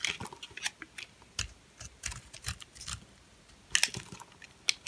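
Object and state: Hard, dry bar soap.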